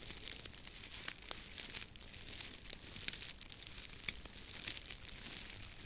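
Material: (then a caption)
Dry grass. A long bundle of dry, straw-like grass stalks, tied in the middle, is held in both hands over a microphone while fingers rub, crinkle and twist the stalks. The result is a steady, bright, crackling rustle with dense, sharp little snaps and crunches and almost no low end.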